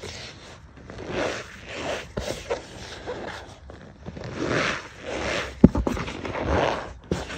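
A bare hand and fingertips press and rub a flat layer of loose white cornstarch powder in a tray, compacting the powder. Soft, squeaky scraping swells in and out in repeated strokes, with one sharper crunch near the end.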